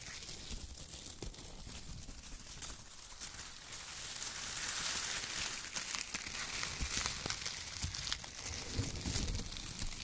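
Fingertips squeeze and crumple bunches of shredded brown kraft paper, producing dense, bright crinkling with scattered sharp crackles over a soft low rumble. The rustling builds in intensity after the first few seconds and stays busy and irregular to the end.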